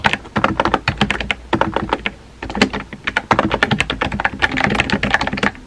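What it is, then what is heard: Plastic mechanical keyboard. Fingertips with painted nails rapidly tap a compact, hollow-bodied pink plastic mechanical keyboard with round white-and-pink typewriter-style keycaps resting on a desk. Quick, clacky, bright key strikes come in dense bursts with a short lull around the two-second mark, each tap dying away almost instantly.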